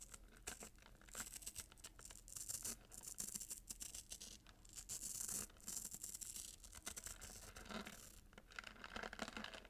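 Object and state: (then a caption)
Gift-wrapped cardboard box with glitter ribbon. Short nails repeatedly scratch along the gold glitter ribbon and bow of a red-paper-wrapped cardboard gift box, seen close up. The result is a quiet, bright, dry rasping in quick, uneven bursts that swell and fade, with a faint low hum underneath.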